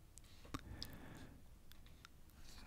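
A fingertip taps and scratches the printed surface of the right page of an open, thin, flexible glossy paper car-accessories catalog held flat. The result is soft, quiet clicks with a brief papery scraping rustle underneath.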